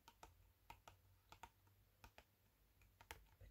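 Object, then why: Cardboard incense box. Fingertips and nails tap and scratch the front face of a long, thin, flat, hollow green printed cardboard box of Satya Patchouli incense sticks held up in both hands. Eleven quiet, sharp, dry clicks come in loose pairs with bright edges and almost no ring, over a faint low hum.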